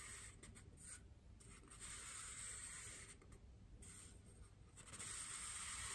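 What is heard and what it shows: A large, white, solid styrofoam wreath ring is held in both hands and rubbed and scratched with fingers and nails. The result is a steady, bright, hissy scraping with a soft low rumble beneath it, swelling and dipping in uneven, rhythmic strokes.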